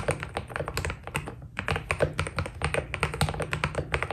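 Two hands type with the fingertips on a white Keydous NJ80 mechanical keyboard with PBT keycaps, giving a steady run of about thirty keystrokes. Each key makes a short, dry tap with a deep, rounded body and a little brighter click on top. The sounds die away almost at once.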